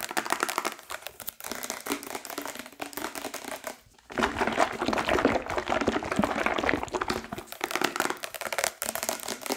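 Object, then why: Steel tin can with paper label. An unopened steel tin can of coconut milk with a paper label, full of liquid, is held in hand while nails rapidly tap and scratch at it, giving dense crinkly clicks and scrapes. The can is also shaken so the liquid inside sloshes, with a brief near-silent gap around four seconds before the busy tapping resumes.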